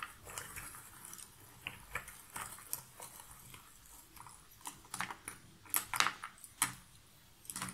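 Two hands with long nails rake through a pile of cardboard jigsaw puzzle pieces in a box lid, then pick up and rub a few pieces together. Quiet, dry, bright clicking and rustling fill the clip, with sharper clacks standing out toward the end. There is almost no low rumble and little ring after each click.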